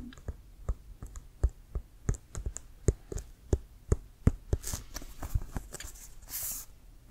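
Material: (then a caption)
Leather. Fingernails tap and scratch the pebbled surface of a hollow, inflated, leather-covered American football, brown with a white stripe. About twenty-two short, dry, low thuds come in an irregular rhythm, with brief bright scratching hisses near the end.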